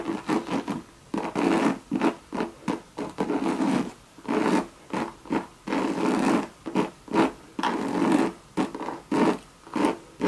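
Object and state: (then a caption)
Coated canvas handbag scratched with fingernails. Long, very sharp red nails scratch and rub the surface of a hollow Louis Vuitton monogram coated canvas bucket bag with leather trim. About twenty dry, rasping scratch strokes come in separate bursts with short silent gaps, their scratchy noise sitting mostly in the low-mids with little bass or high end.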